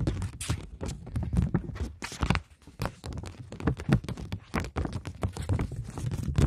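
A polymer plastic £20 banknote is flexed in the hands while long nails tap and scratch across it. The result is a dense run of quick, crisp taps and crinkles with a soft, low thumping body and brief bright scratchy edges that die away almost instantly.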